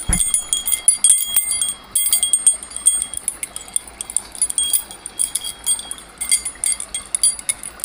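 A bundle of long metal bars on a ring is held by the ring and shaken, then gripped close. The metal pieces jangle against each other in a quick run of bright, high, chime-like clinks with very short ringing, some louder and some softer, with brief pauses between bursts.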